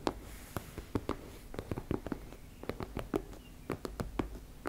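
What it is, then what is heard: Fabric cosmetic pouch tapped and scratched. Long nails tap and scratch across a teal embossed-fabric makeup bag, making about eighteen short, dry taps mixed with soft, muffled scratching. The clicks are quick and close, with a low-mid body and no ring, over a faint steady hiss.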